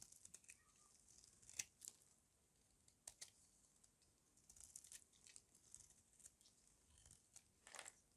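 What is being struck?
Soap bar scraped with a metal blade.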